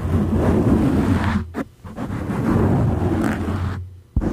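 Fingertips and nails of both hands scratch, rub and squeeze a dark grey soft foam windscreen over a condenser microphone. The result is a dense, muffled, low rumbling crackle that drops away briefly twice, near 1.7 and 4 seconds, before the friction noise abruptly resumes.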